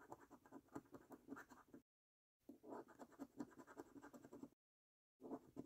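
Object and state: Scratch card being scraped.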